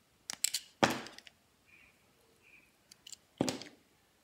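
A palm-sized solid yellow Dettol soap bar is held in the hand while a utility knife blade shaves and slices its edges in repeated cutting and scraping strokes. Crisp, bright snaps and clicks are followed by two louder slicing strokes that trail off into a soft scrape, with faint quiet scrapes in between.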